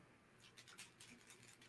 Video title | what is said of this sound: Shameless Facebook Friday with Dr. Patti Ashley and Val Valentine | very subtle but that's the sound for this box it's a heart rattle